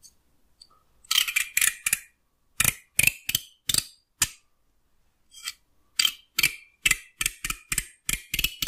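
A fingertip and fingernail run along and pluck the teeth of a solid wooden hair comb, making a series of short, bright, rattling scratches. The strokes come in quick clusters separated by brief pauses, each a crisp, dry clicking sweep with almost no ring.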